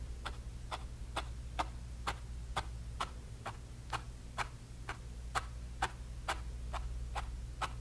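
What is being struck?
Bristle brush tapping paint onto a canvas panel.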